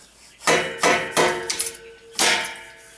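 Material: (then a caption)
Steel. A stuck metal clamp on a turbo connection of a Ford F250 6.0 Powerstroke, sprayed with WD40, is tapped during turbo removal. Sharp metallic knocks ring briefly with a tonal ring, with two quick lighter taps between them. The connection comes loose and is then pulled off free.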